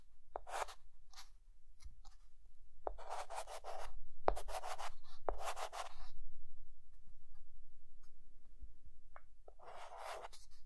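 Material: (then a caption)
Chalk. A white chalk stick held in the fingertips draws the lines and dashes of a lighthouse on a flat, dark green chalkboard. Quiet, bright scratching strokes alternate with short, sharp taps and brief pauses.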